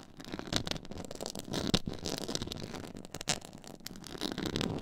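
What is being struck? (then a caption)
Stitched faux leather board. Long nail tips scratch across a black, stitched, diamond-textured faux leather board. The result is a continuous rough, crackly rasping with bright edges, broken by a few sharper, louder scrapes.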